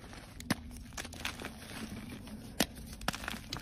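A solid white block of gym chalk is squeezed and crumbled by fingers, so chunks and powder break off. Soft, irregular crunching and crinkling alternate with a few sharp, bright snaps over a quiet background hiss and low hum.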